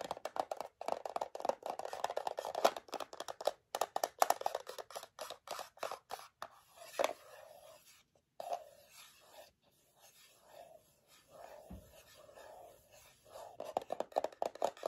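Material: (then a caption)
Metal. Long fingernails tap and scratch a small, closed rectangular metal tin printed in yellow, with a paper label and holding gummy chews. Rapid clicky taps and dry scratching dominate the first half. The second half has softer, sparser strokes with brief gaps, and quick tapping returns at the end.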